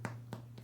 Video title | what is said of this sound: Pan Integral | Suena hueco. Eso es un buen indicador de que este pan está cocido adentro.